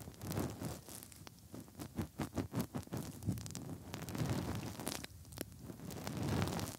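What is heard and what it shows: Fingertips rub inside the hollow ear canals of the soft silicone ears on a 3Dio binaural microphone. The result is close, muffled, scratchy friction with a zipper-like quality. A run of quick rhythmic strokes comes in the middle, with soft low rumbling rubs before and after.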